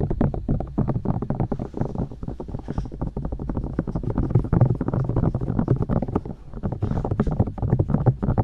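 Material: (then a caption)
Silicone. Long dark-painted nails poke and tap into and around both soft silicone ears of a 3Dio-style binaural microphone, with hollow ear canals, mounted on white plastic discs. A rapid, nearly continuous stream of muffled, low thumps and soft pops is heard, heavy in deep bass around 120 Hz. Each tap dies almost instantly, with a brief quieter dip near the six-second mark.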